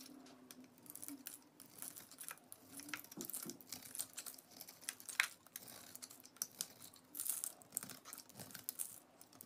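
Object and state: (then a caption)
Bar soap being carved. A utility knife blade shaves and carves the surface of a solid orange bar of soap stamped with lettering, held in hands with painted nails, peeling flakes away. The result is a quiet, steady run of crisp, bright scraping and crinkly cutting strokes with little low end, plus a few sharper slices standing out.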